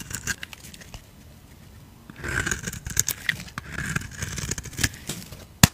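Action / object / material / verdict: scrape / soap bar scraped with a knife blade / soap / none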